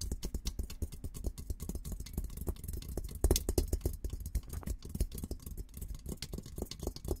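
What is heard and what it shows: Fingertips tap and scratch rapidly across the top of a hollow, olive-green painted steel military helmet shell for about seven seconds. Each tap gives a short, deep, hollow thud that dies away almost at once, mixed with faint bright scratching ticks, and a louder burst of taps comes near the middle.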